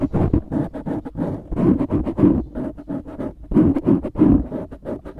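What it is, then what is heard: Foam microphone windscreen being scratched. Fingertips scratch the sides of a black foam windscreen on a microphone, making dense, muffled rustling and crackling strokes. The scratches come in quick uneven bursts that swell and fade. The sound is strongest in the low-mid range with little high end.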